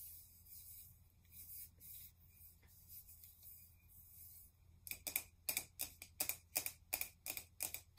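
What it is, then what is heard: Plastic spray bottle. Fingertips and nails rub and tap along the sides of a tall, hollow pink plastic cosmetic setting spray bottle with a cap, held in both hands. Soft, bright scratchy rubbing fills the first half over a faint low hum. It then gives way to a run of sharp, hollow plastic taps with a high, clicky tone that come at an uneven pace.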